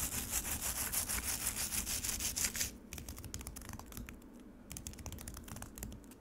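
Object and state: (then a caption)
Frozen lemonade scratched in a plastic tray. Long nails scratch the grainy, icy surface of frozen lemonade in a black plastic tray. For about the first three seconds there is dense, bright, rhythmic scraping. It then turns into quieter, sparser crisp ticks and short scratches.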